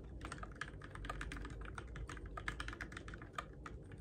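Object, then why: Mechanical keyboard with plastic keycaps. Fingertips type steadily on the plastic keycaps of a Keychron K6 compact RGB-backlit mechanical keyboard in the dark. A rapid, uneven stream of short, crisp clacks sits over a constant low rumble. The taps are quiet and fade almost instantly.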